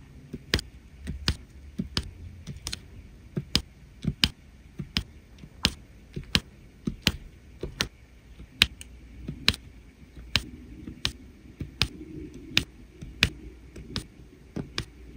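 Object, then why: Resin drills and plastic pen on an adhesive canvas. A plastic drill pen repeatedly taps and presses small faceted resin drills onto a flat adhesive diamond painting canvas. About 20 short, sharp, bright clicks sound at an uneven pace, each dying away almost instantly. A faint low hum runs underneath.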